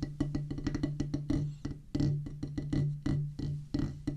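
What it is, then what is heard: Rubber drum practice pad. Two wooden drumsticks drum rapidly near the center of a solid oval practice pad with a black rubber top on a pressboard/wood base. About 22 dull, woody knocks land in an uneven pattern, each carrying a low hum around 145 Hz and dying away quickly.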